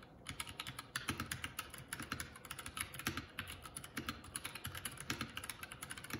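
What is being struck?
Mechanical keyboard with plastic keycaps.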